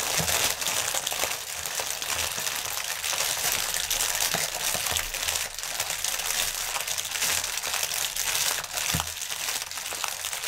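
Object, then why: Polyethylene air cushion packaging. A strip of inflated, clear polyethylene air-pillow packaging, hollow and air-filled, lies on a table while both hands scratch the film with fingertips and nails. The result is a steady, dense, bright crinkling and rustling with occasional sharper crackles.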